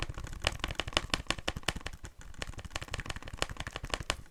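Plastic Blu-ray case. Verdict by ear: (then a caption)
Cracked. Fingers tap rapidly and irregularly on the plastic Blu-ray case of the horror film "It," producing sharp, clicky taps with a bright upper edge and a low thump, with a brief pause near the middle. The case is a little broken, and a loose piece gives the taps a slight ring, so it does not make great tapping sounds.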